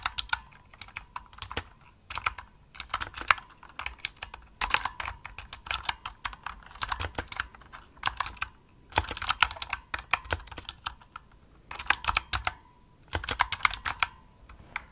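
Both hands with long nails and fingertips type rapidly on a pink plastic Razer mechanical keyboard with backlit keys and a hollow body. Bursts of bright, sharp clicks come in quick runs separated by short pauses. Each key press is crisp and dies away almost instantly.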